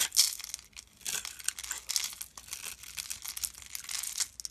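A utility knife blade scrapes across the pre-scored grid surface of a solid, rectangular, palm-sized beige soap bar held in the hand, breaking off small cubes. The result is a steady run of crisp, bright crackling and crumbly scraping with dry, quick-fading bursts and almost no low end.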